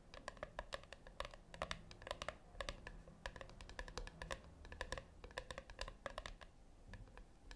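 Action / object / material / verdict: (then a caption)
tap / small round metal tin / metal / none. Long acrylic nails tap and lightly scratch the flat top of a small, round, brushed-silver metal tin or puck resting on a white cloth. Quick, bright clicks with almost no ring come in an uneven run over a steady low hum.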